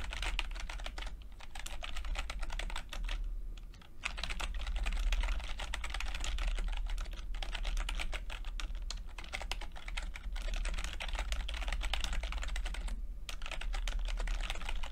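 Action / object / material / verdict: tap / plastic chiclet computer keyboard / plastic / none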